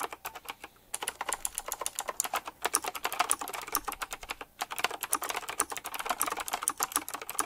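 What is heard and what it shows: Fingertips type quickly on the round plastic, metal-rimmed keycaps of a retro typewriter-style mechanical keyboard. A dense stream of sharp, bright clicks with very short decay comes in bursts, with brief pauses near the one-second and four-and-a-half-second marks.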